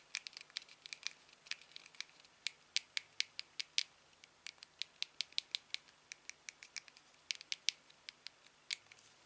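A thumb repeatedly presses and taps the click wheel and buttons of a small, hollow, silver aluminium TV remote held in the hand. About 36 crisp, dry, bright clicks arrive at an uneven pace, each dying away almost instantly with no low end. The result is a quiet patter of sharp tapping.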